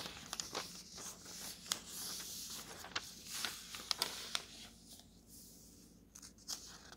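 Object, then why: Thin coated paper atlas pages. A palm smooths a thin coated paper map page in an open road atlas, then fingertips flip the pages. The result is a soft, bright, hissy rustle broken by sharp crinkly snaps and swishes, which fades to a quieter whisper of paper near the end.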